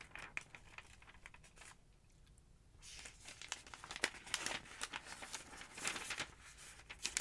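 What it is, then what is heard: Paper phonebook pages. Long-nailed fingers lift and flip the thin yellow pages of a large open paper phonebook resting on a wooden table. Soft, bright crinkling and rustling paper sounds with quick crisp snaps run throughout, with a brief near-silent pause early on before the page turning grows busier and louder.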